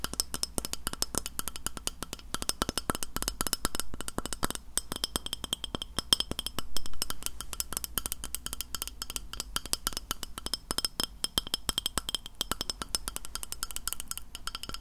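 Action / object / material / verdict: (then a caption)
tap / glass plate / glass / none. Fingernails tap continuously on a glass plate, making a rapid, dense stream of sharp, clinking percussive hits. Each click is bright and dies away almost instantly, with a faint glassy ring near 3.2 kHz over a steady low hum.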